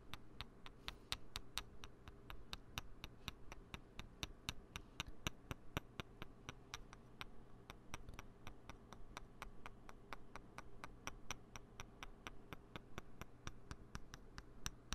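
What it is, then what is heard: Plastic poker chips clicked together. A pair of small, solid green plastic poker chips held in the fingertips near the mic are clicked together edge to edge. They give a steady run of rapid, sharp ticking clacks with bright, crisp tops and almost no ring, over a low, steady background hum.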